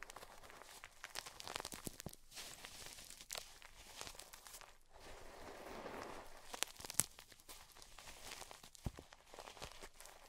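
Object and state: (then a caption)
Crushed gym chalk chunks. Chalk-covered hands with long purple nails squeeze and crumble chunks of gym chalk (magnesium carbonate) between the fingers and scratch into a bed of white chalk pieces and powder. The result is a quiet, steady run of dry, bright crunching and crackling, with sharp snapping clicks and a softer, grainy scraping swell around the middle.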